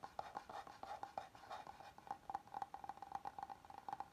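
Fingertips and nails tap and scratch the face of a flat oval solid wooden serving board held upright. The result is a quiet, rapid series of soft taps with a brief hollow ring around 800 Hz, mixed with dry scratching.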